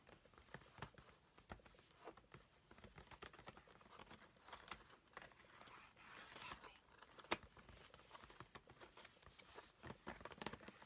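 A flat cardboard nail-charms kit box with a small plastic window, lying on a table, is tapped and scratched with fingertips and nails. The result is a quiet run of dry, quick taps mixed with bright, crinkly scratching and rustling, with a single sharper, louder tap partway through and no ringing after each touch.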